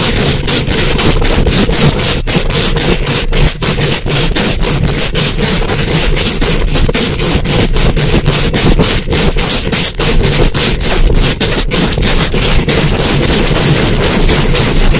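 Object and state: Metal mesh microphone grille being scratched.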